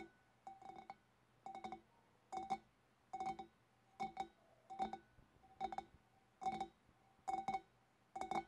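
Long dark nails tap the sides and wavy top rim of a large, empty, hollow clear glass fish bowl. Quick clusters of light clinks come at a loose, uneven pace, each with a short glassy ring around 780 Hz and a faint bright edge. Quiet pauses fall between the clusters.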